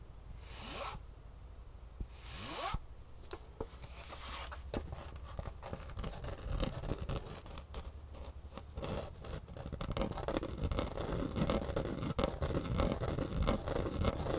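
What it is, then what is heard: Foam shoe insole. A thin, flexible, solid green foam shoe insole with a grey top layer is held in the hand, with the second insole of the pair also held, and scratched with long natural nails. Two bright, zipper-like rasping strokes open the clip, followed by a steady stream of fast, dry scratches and scrapes that grow slightly louder and denser toward the end.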